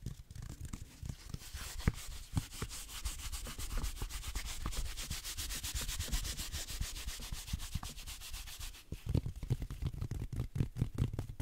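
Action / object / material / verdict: scrape / velvet-flocked reindeer figurine / flocking / none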